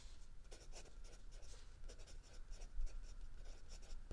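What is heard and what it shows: A mechanical pencil scratches across a lined paper page of a spiral notebook resting on a wooden desk, writing in continuous strokes. Quick, bright scratchy bursts come in short clusters over a steady low hum.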